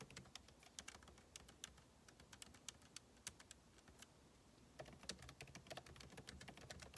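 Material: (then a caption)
Plastic. Fingertips type rapidly on a backlit MacBook Pro keyboard with plastic keycaps set in an aluminum body, producing quick, sharp, bright clicks that die away almost instantly over a soft low hum. The tapping runs steadily, eases briefly around the middle, then resumes in a denser, louder flurry toward the end.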